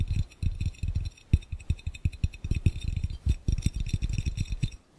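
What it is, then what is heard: Glass fishbowl. Fingertips and nails tap rapidly on an empty, clear, round, hollow glass fishbowl. The result is a fast, uneven series of short, dull, low thuds with very little ring and faint bright clinks above, broken by brief pauses.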